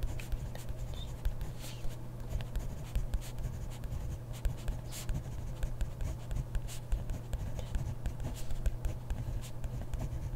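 A hand writes steadily with a ballpoint pen on a grid paper notebook page, the pen tip scratching the paper in a continuous stream of short, bright strokes. A steady low hum sits underneath throughout.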